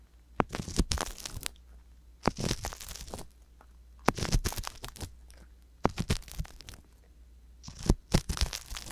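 A wooden ear pick with a metal tip, held by a hand with long yellow nails, scratches inside the canal of a left silicone ear on a binaural microphone. Five bursts of close, crunchy scraping and crackling are heard, separated by short pauses over a steady low hum.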